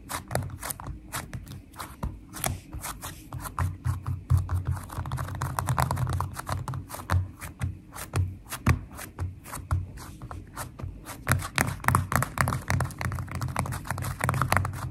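Long nails tap rapidly on flat purple glitter slime filled with foam beads. The result is a dense stream of sharp, bright clicks and crackles over a steady low hum.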